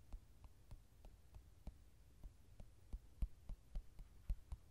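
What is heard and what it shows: Fingertips and nails tap on the glossy card cover of a softcover mandala coloring book lying flat. The taps are soft, dull and low, with an uneven rhythm over a faint low hum, and each one dies away almost instantly.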